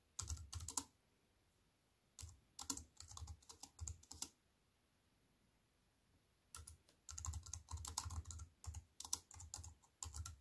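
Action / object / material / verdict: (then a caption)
tap / plastic computer keyboard / plastic / none. Fingertips and long white-painted nails type on a compact wireless keyboard with black plastic keys and a grey metal-look frame, resting flat on a wooden table. Quick bursts of crisp, bright key clicks with a soft low thud come in three runs, separated by quiet pauses of about two seconds. Each tap dies away almost instantly.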